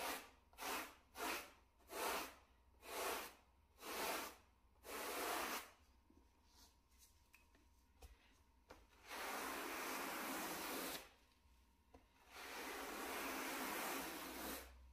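A wooden-backed bristle brush held in a gloved hand is swept over the pile of a small, solid, flat grey plush shag carpet mat. It makes a run of short, separate, bright swishing strokes that grow longer, then a quiet gap with faint ticks. Two long, steady scrubbing passes follow.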